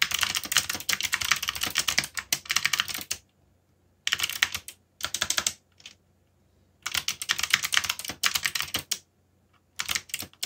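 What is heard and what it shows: Fingertips type on a backlit mechanical computer keyboard with plastic keycaps, giving rapid, bright, clicky key taps with a crisp, short decay. The typing comes in bursts, pausing briefly to silence between runs.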